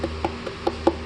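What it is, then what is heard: Undercoated car underbody panel, dull deadened sound. A hand slaps the steel underbody of a Hyundai Palisade SUV six times after a ceramic undercoating has been applied. Each hit is a short, dull, deadened thud with almost no ring. Without the coating the panel rings hollow; here the coating has deadened the sound.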